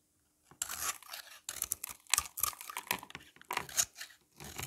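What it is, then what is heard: Dry soap bar being shaved. A solid, hand-held oval bar of dry soap, red outside with a blue layer inside, is scraped and shaved with a utility knife blade, and flakes fall off. The result is a run of short, dry, crisp scraping and crunching strokes. They are bright and mostly high in tone, with almost no low end, and each stroke stops quickly with little ring.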